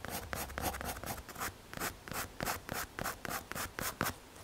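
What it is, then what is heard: MDF board. A pencil tip rubs and scratches across a small, solid, square brown MDF or hardboard panel held in the fingers while shading. About fifteen quick, dry strokes are heard in a rhythmic back-and-forth, each a bright, papery scratch with a brief swell.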